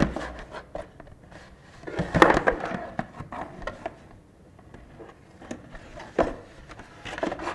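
A small, closed, white printed cardboard box for a LaCie Porsche Design hard drive, likely still holding the drive, is held and turned in both hands and rubbed with the fingertips, then set down on a wooden desk. Soft, dry scraping and brushing of cardboard fill the clip, broken by irregular light taps and a few firmer knocks. The sound is mostly mid-range with little bright content and short, quickly fading hits.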